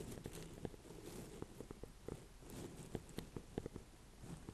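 Painted fingernails tap and scratch the ribbed rind of a small, solid, orange-and-cream striped ornamental pumpkin with a dry stem, held in both hands over a bed of hay. Soft, dull taps and scratchy rustles sit over a low, steady background rustle. Each tap is short, with almost no ring.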